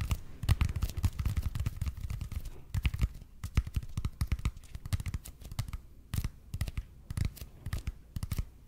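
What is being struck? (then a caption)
Expanded polypropylene foam roller. Fingernails scratch and tap the surface of a red and white speckled expanded polypropylene (EPP) foam roller held in both hands. The sound is a quick series of soft, dull, low-heavy scratches and taps with bright scraping edges that stop dead with no ring.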